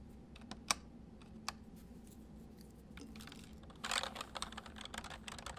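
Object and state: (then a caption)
Plastic mechanical keyboard. Fingertips of both hands type and press the hollow keys of a white full-size MSI plastic mechanical keyboard on a desk. A few sparse, sharp, bright clicks come first over a faint steady low hum. Near the end they give way to a denser, louder burst of rapid clacking typing.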